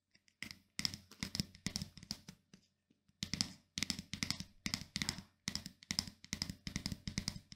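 Fingernails scratch and strum the black plastic pins of a pink plastic paddle hairbrush and tap its hollow plastic back. The result is quick bursts of dry, bright, crackly clicking with a soft low knock underneath, in uneven clusters with a short pause near the middle.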